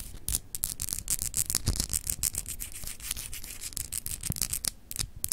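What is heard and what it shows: Long acrylic nails scratch fast across a small, solid, clear glass globe paperweight with etched continents. The sound is a quick run of dry, bright scrapes and ticks with a high hiss, and each stroke cuts off almost instantly with no ring.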